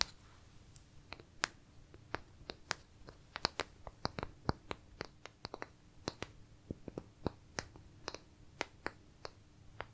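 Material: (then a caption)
Wood. Pieces of wood are tapped and handled, producing a quick, irregular series of about two dozen sharp, dry clicks. Each click is bright and stops at once with no ring. The taps sit at a low level over a faint steady hum.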